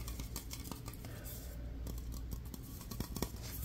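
Fingertips and nails tap and scratch the body of a tall aluminum aerosol deodorant spray can, a hollow metal cylinder, while rotating it. Fast, dry clicks and scrapes sit over a steady low hum, with brief bright ticks that die away almost at once.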